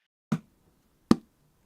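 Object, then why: Hardcover book cover, board. Two knocks on the rigid board cover of a newly arrived hardcover manga volume. Each is a short, dry tap with a woody mid-low body and almost no ring.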